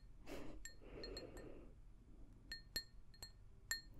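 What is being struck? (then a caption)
Glazed ceramic mug. An empty, hollow pink glazed ceramic mug, held in both hands, is tapped with long nails, giving short, bright clinks that ring around 1.8 kHz with high overtones. Early on, softer rustling, scratchy nail sounds come between the taps, and a few sharper clinks follow toward the end.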